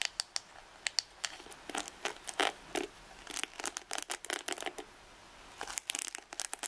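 Long red nails scratch and flick the dense ball-tipped nylon and boar bristles of a wooden paddle hairbrush held up close. The result is a rapid, uneven series of crisp, bright scratchy clicks and flicks. Each one cuts off almost instantly, with brief quiet gaps between clusters.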